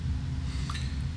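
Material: Nothing is struck.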